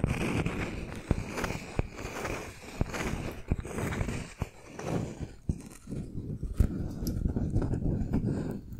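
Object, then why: Wooden log slice with bark. A palm-sized round slice of solid wood with a bark rim is tapped and scratched with the fingernails of both hands. Sharp, dry clicks rise out of a steady, low-heavy scratching rustle that thins and quiets for short spells before picking up again.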